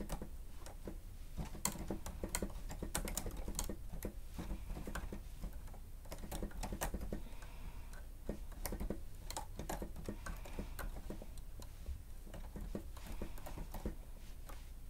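Rapid typing on a grey plastic stenotype machine with a screen, its keys pressed quickly with the fingertips and nails of both hands. The result is a steady stream of short, dry plastic clicks and taps that stop almost instantly, over a constant low rumble.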